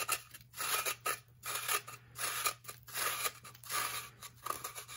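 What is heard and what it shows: A knife edge is pulled in repeated strokes across the face of a solid, blue-tinted compressed baking soda block, shaving it. Each stroke makes a dry, bright, gritty scrape with a faint ringing tone, leaving ridged grooves and shedding powder, over a steady low hum.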